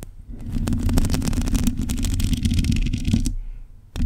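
Long nails scratch the uncovered, hollow metal mesh head of a black condenser microphone, making a dense, rumbling rasp with a steady low tone near 240 Hz and flickers of bright, crackly ticks. The scratching runs for about three seconds, fades to near silence, then a short, loud scrape returns at the very end.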